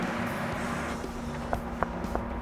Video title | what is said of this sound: How Pistachio Farmers Built A Billion-Dollar Empire During California Droughts - Big Business | Hear that good solid sound? Solid pistachios.